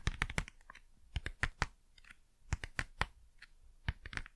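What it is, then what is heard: Cardboard packaging. Fast, crisp tapping on cardboard packaging, with quick dry taps that die out almost instantly. The taps come in uneven clusters with short pauses between them, and each has a low thump under a brighter papery click.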